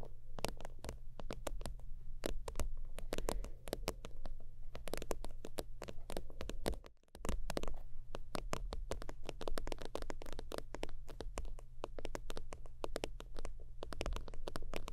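Long acrylic nails tap and scratch quickly on the flat, soft surface of an iridescent holographic faux-leather zip wallet, producing a dense stream of short, dry clicks and brushing scrapes. A steady low hum runs underneath throughout, and the tapping pauses briefly near the middle before resuming at the same fast pace.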